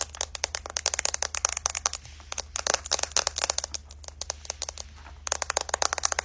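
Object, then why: Smartphone with glass back and metal frame. A white iPhone with a glass back and metal frame is held in both hands and tapped and scratched with long light-colored nails on the back and along the edge. Rapid, bright clicking taps with tiny scratchy crackles come in quick bursts, each tap dying away almost instantly. Two short pauses break the tapping, leaving only a faint low hum.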